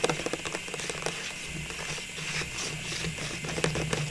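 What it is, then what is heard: Clear plastic ornament tube. Long pink nails tap a hollow, cylindrical clear plastic tube full of small Christmas ornaments, held in the hands. Light, bright plastic clicks come in a quick cluster at the start and again near the end, over a soft, steady hiss between them.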